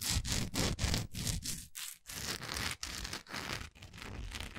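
Long nails scratch and rub the grainy side of a large solid orange wax pillar candle, recorded close up. Rough, rustling scrape strokes come in quick, uneven bursts, roughly three to four per second, separated by brief gaps. The bursts pair a bright hiss with a dull low body.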